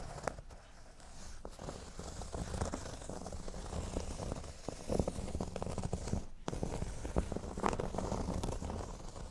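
Fingernails scratch across a flat, thin, solid cork board resting on a table, briefly at its top edge. The result is a steady, dry, crackling scrape with a low rumbling body and occasional sharper clicks, broken by a short near-silent pause before the scratching resumes.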